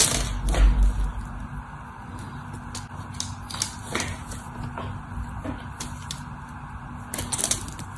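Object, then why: Solid bar of soap cut with a craft knife. A solid white bar of soap, held in the hand, is chipped and carved with a craft knife, with flakes breaking off. Irregular crisp clicks and short scraping strokes sound over a steady low hum, louder at the start and again near the end.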